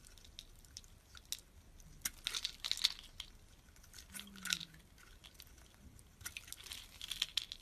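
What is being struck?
Solid soap bar shaved with a steel blade.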